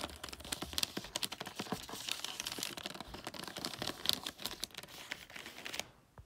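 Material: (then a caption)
Paper. Long nails tap and scratch across a flat gift wrapped in creased, red glossy paper, making a dense run of bright, crinkly clicks and papery rustles. The short, dry taps carry little low end and stop abruptly just before the end, leaving near silence.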